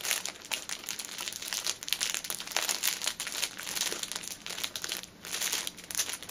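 Fingertips and long nails tap and scratch the top of a pocket tissue six-pack wrapped in clear cellophane plastic film, lying on a table. The result is a steady, dense run of bright, crisp crinkling and rustling with quick ticking taps and almost no low end.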